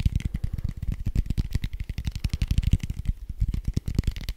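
A large red foam die with white dots, made of soft foam, is held up and tapped and scratched quickly with fingertips and nails. The result is a rapid, continuous flurry of short, dull, low thumps, with faint scratchy brightness over them and no ring after each touch.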